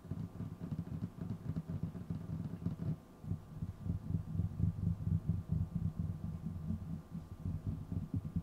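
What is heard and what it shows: Fingertips of both hands tap rapidly on a flat, solid, dark wooden table surface. The taps are dull, low thuds with almost no brightness, falling into a fast, uneven, drumming rhythm. Each tap dies away quickly, with a brief softer stretch around the three-second mark before the tapping grows louder again.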